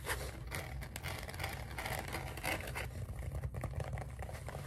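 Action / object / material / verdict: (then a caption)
scrape / polyethylene foam pool noodle / polyethylene foam / none. A lime-green hollow polyethylene foam pool noodle, held upright and then horizontally, is tapped, scratched and rubbed with fingertips and nails. The result is a dense run of soft, squeaky scrapes and dull taps over a steady low rumble.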